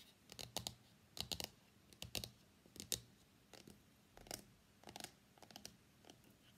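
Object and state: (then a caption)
Cardboard phone box tapped. Fingernails tap on the lid of a small, hollow, closed white cardboard iPhone box, then fingers grip and scratch its sides. The result is clusters of quiet, dry, bright clicks and scratchy rustles in an irregular rhythm, each dying away almost instantly.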